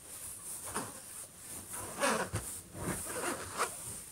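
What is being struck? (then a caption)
Metal laptop lid. Both hands slowly scratch and rub the closed lid of a silver HP laptop with fingertips and short nails. Soft, raspy scraping strokes swell and fade over a steady bright hiss, with a few sharper scratches standing out. The sound stays quiet and dry throughout.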